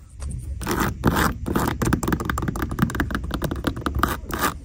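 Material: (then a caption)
Glitter fabric. Long decorated nails scratch the textured glitter surface of a pair of beige glittery fabric ballet flats resting on a store shelf. Rapid, rough scraping strokes come in dense bursts that reach into the high range, over a steady low rumble.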